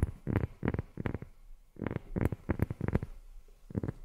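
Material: Rubber.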